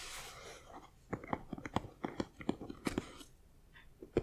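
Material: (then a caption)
Foam board. Fingertips and nails of both hands tap and scratch the side of an assembled, hollow Knight Bus model about 25 cm long, built from foam-backed printed 3D puzzle pieces. A soft, airy scratching opens the clip, then gives way to a quick, uneven series of dull, hollow clicks and light knocks with very short decay.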